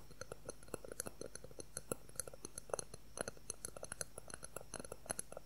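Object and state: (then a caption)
Clear plastic ruler. A thin, solid, transparent plastic ruler about 20 cm long is tapped and scratched with fingernails in a quick, irregular run of about 35 light taps. Each is a short, dry click centred near 550 Hz with a bright upper edge and almost no ring, over a quiet, steady background.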